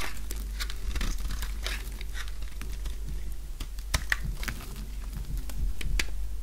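A utility knife blade shaves curling flakes off the edge of a light-green, solid oval bar of dry soap held in the palm. Dry crisp scraping and crinkling comes in quick, irregular strokes, with sharp bright ticks over a steady low hum.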